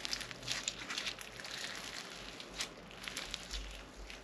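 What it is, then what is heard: Crunchy floam slime with foam beads. A soft, solid lump of crunchy floam slime filled with foam beads is squeezed and kneaded in both hands, with fingertips pressing into it. Quiet, bright crackling bead pops come in quick bursts over a faint low rumble.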